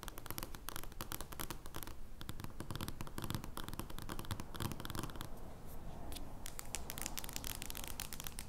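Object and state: Large cardboard playing card.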